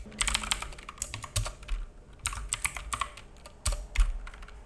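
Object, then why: Plastic mechanical keyboard. Fingertips of both hands type on a black full-size mechanical keyboard with plastic keycaps and a hollow case, resting on a wooden desk. Bright, clacky key taps come in quick uneven bursts, each with a short dull low thump from the case and desk beneath. The taps die away almost instantly, leaving a steady run of dry, rattling keystrokes.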